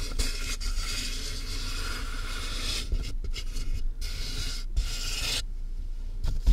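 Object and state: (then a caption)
Cardboard box being scratched. Long nails and fingertips scratch and tap the taped top of a large, closed, hollow cardboard shipping box with a microphone inside. The result is a steady, bright rasping scrape over a deep, hollow boom, broken by short pauses and a few sharper taps toward the end.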